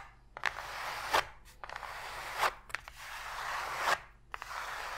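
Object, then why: Open cardboard box tray. Long pointed fingernails scratch quickly across the flat bottom of an empty, open white cardboard box tray, with a few sharp taps on the hollow cardboard. The result is dry, papery scraping with bright, crisp bursts and short clicks that stop almost at once.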